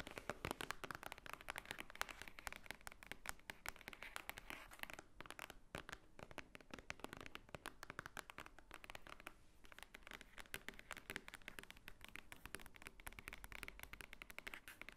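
Long nails tap fast on the top cover of a large, thick, white-edged paper book lying flat, its solid paper stack beneath. A dense, steady stream of quick, dry, clicky taps runs the full 15 seconds with no ring. The bright, papery ticks carry a faint low thud and ease briefly around the five-second mark.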